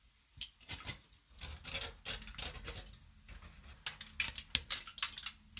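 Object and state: Aluminium foil sheet.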